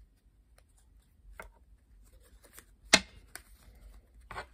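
A blue-backed coated paper playing card deck is picked up from a wooden table, pressed and squared with long pink nails, then bent and riffle-shuffled in both hands. Quiet, bright papery rustles and taps lead to one sharp, crisp snap of the cards, followed by softer flutters and a final brief riffle.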